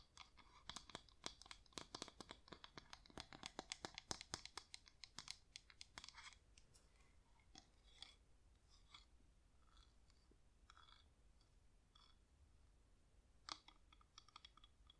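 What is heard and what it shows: Long nails tap quickly on the side of a hand-sized yellow wax flameless LED pillar candle that is hollow at the top. The sharp, bright, clicky taps come in a dense, lively flurry for the first six seconds, then thin out into quieter, scattered taps with one louder tap near the end.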